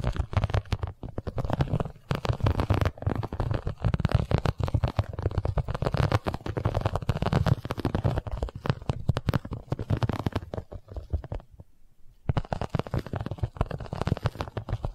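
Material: Vinyl.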